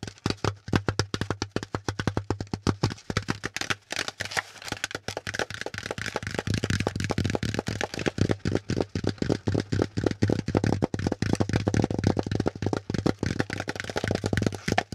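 Fingertips and nails tap and scratch the flat top and ridges of a brown corrugated cardboard packaging insert with hollow folded cells. A rapid, steady stream of short, dry, hollow knocks with a low body is heard. Soft scratchy rustling runs between the taps.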